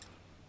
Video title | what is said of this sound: ドライバー選手権第二回 追加テストその2【工具紹介】 | 金属棒で叩いてみた感じ柔らかそうな音をしています